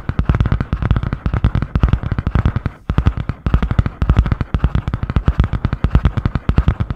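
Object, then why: Cardboard-covered spiral notebook. Long painted nails tap and scratch fast on the grey butterfly-print cardboard hard cover of a medium spiral-bound notebook held upright. Dozens of quick, dry, low-heavy knocks run in a steady rapid stream, with a brief pause near three seconds before the tapping resumes.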